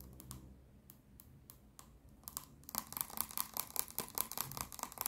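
Long nails tap and scratch the body and white plastic cap of a clear plastic micellar water bottle full of pink liquid. Sparse, quiet taps come first, then from about 2.7 seconds the tapping and scratching turns fast and dense. The sound is sharp, bright clicks with very short decay.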